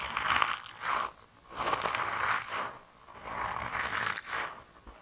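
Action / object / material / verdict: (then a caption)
scrape / soft rubber mouse toy / rubber / none. A hand-sized, grey, soft rubber mouse toy, solid and flexible, is squeezed and twisted between thumbs and fingertips. It gives off creaky, rubbery squeaks and rasping friction centred around 1.1 kHz, with some bright hiss. The sound comes in slow, uneven swells separated by brief quiet gaps.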